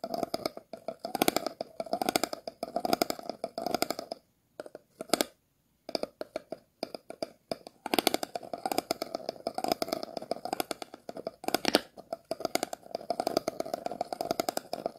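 A thin stick is scratched over the star-shaped ridged bottom of an empty, hollow, clear plastic water bottle, making rapid clicking, rattling scrapes with a hollow resonance in the mids and bright crackle on top. The scratching comes in dense bursts with brief near-silent pauses around the middle and near the end.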